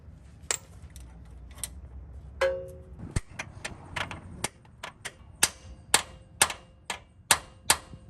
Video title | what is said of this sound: Toyota Lexus Rear Axle Seal / Bearing Replacement - 4runner, Tacoma, Tundra, FJ, LC, LX, GX (Part 2) | That sounds solid. I think it's all the way driven home.